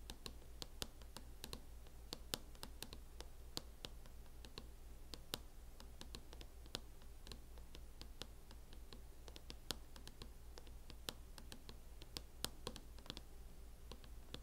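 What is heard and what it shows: Long fingernails tap quickly and irregularly on the lid of a closed MacBook fitted with a teal matte plastic hard-shell case. They make a steady stream of sharp, bright, dry clicks that die out almost instantly, over a faint constant low hum.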